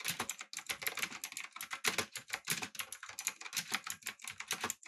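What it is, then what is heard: Mechanical keyboard with plastic keycaps. Fingertips type on a backlit, typewriter-style mechanical keyboard with round plastic keycaps. The keys make a fast, steady run of bright, crisp clacks that die away quickly, with almost no low end.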